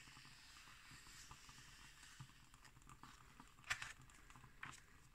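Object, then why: Glossy paper magazine page. Long nails tap quickly and scratch on an illustration in an open magazine with glossy pages. Quiet, bright, crackly scratching and soft taps run throughout, with a sharper, louder tap near the end.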